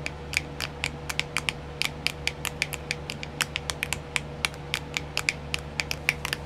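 Long grey-painted nails tap and scratch a small, round, clear plastic nail art wheel, a hollow rotating wheel filled with compartments of nail decals. The result is a steady run of sharp, bright clicks with very short ring, centered around 2.3 kHz and spread evenly over a faint low hum.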